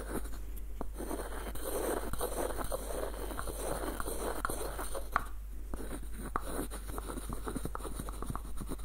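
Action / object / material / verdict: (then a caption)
scrape / small wooden screw nutcracker / wood / none. Fingertips and nails scratch and tap the body of a small, hollow, light-wood screw nutcracker with a dark knob. A soft, steady scratching and scraping texture runs throughout, broken by brief, dry taps with almost no ring, including one sharper click near the middle. A low, constant hum sits underneath.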